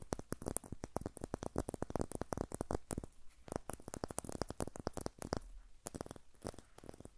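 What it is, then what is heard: Birch log with bark. A short, solid birch log section with white papery bark, held in both hands close to the recorder, is scratched and tapped with fingernails. A rapid run of dozens of sharp, dry clicks and taps mixes with soft scratching over a quiet background.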